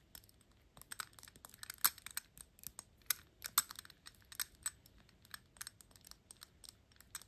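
Long pink nails held above a small, hollow, shiny gold-tone metal cap on a Gucci glass perfume bottle tap it in fast, irregular bursts. Each tap is a sharp, bright click with a high metallic tick and almost no ring, the louder taps standing out against a quiet background.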